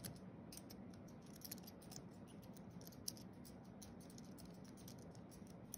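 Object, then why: Aluminium and plastic computer keyboard. Fingertips of both hands tap quickly across the white plastic keys of a thin wireless keyboard with a flat aluminium base, typing. The result is a quiet, steady stream of soft, bright clicks over a low, even rumble, with a few slightly sharper keystrokes standing out.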